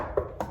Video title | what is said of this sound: Property Appraisal – Commercial to 6-Bed HMO Conversion (Part 1) | i can hear these hollow spots especially there